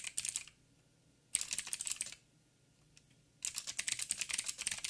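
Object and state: Mechanical keyboard with plastic keycaps.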